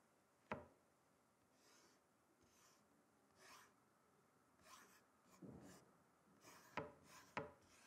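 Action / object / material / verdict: scrape / wooden chopping board / wood / none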